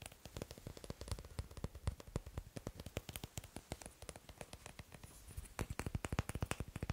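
Fingers tap quickly on wooden blocks in a steady, dense run of short, dry knocks with a low woody thump and bright clicky tops. The taps stay continuous throughout and grow a little louder and more spaced near the end, with no ring after each hit.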